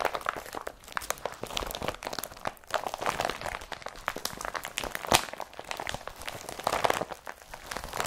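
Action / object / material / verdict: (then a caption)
scrape / woven polypropylene carrier bag / polypropylene / none. An empty blue IKEA BRATTBY woven polypropylene carrier bag is held up in both hands and scrunched with the fingers. It makes a steady run of dense, dry crinkling and crunching with sharp, bright crackles and almost no low end. The crackles stop instantly with no ring.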